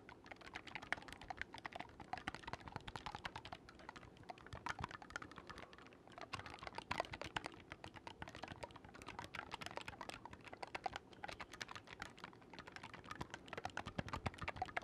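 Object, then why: Wooden oboe with metal keys. Fingertips quickly click the silver keys of a black wooden oboe, held vertically and then horizontally. The result is a quiet, continuous stream of rapid, dry clicks and taps with no ring, their sharp attacks bright around 1.9 kHz over a soft low thump.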